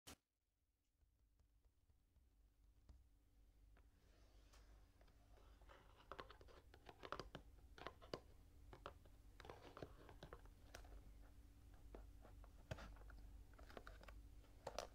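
Long painted fingernails tap and scratch across the front of a small printed cardboard Kinetic Sand box, full and sealed, lying on a table. After a brief click and a moment of near silence, quiet dry scratching rises gradually, punctuated by irregular sharp, bright taps that grow slightly louder over the clip.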